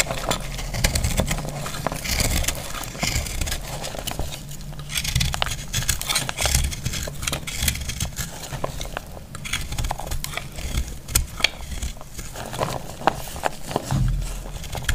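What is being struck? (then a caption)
Bar of soap cut with a metal blade. A dry, solid green-yellow heart-shaped soap is held in the hand and cut with a metal blade. Dense, bright crackling and scraping continue throughout as it crumbles into dry pieces that fall, with sharp clicks over a low rumble.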